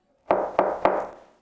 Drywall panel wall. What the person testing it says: do you hear how hollow it sounds?